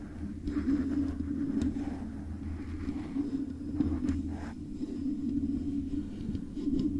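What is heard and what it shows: Long acrylic nails scratch and tap the hollow metal housing of a silver metal microphone body covered in stickers, using both hands. A steady, dense low scraping rumble centred in the low-mid range continues throughout, with brief brighter scratchy flicks rising above it.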